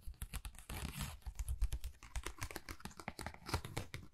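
Long nails rapidly tap and scratch a flat pink textured cardboard Dior envelope. Quick, dry clicking taps with a low, dull body are broken up by a brighter, rustling scratch partway through. The taps and scratches run continuously, close and quiet.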